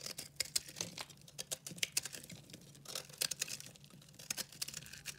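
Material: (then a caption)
Soap. A solid, pastel-speckled, dry recycled soap bar is held in the hand and cut and scraped with a red-handled utility knife. It makes a rapid series of crisp, dry, bright crackling and scratching bursts with almost no low end. Each burst is short and irregular, over quiet, faint crumbly scraping.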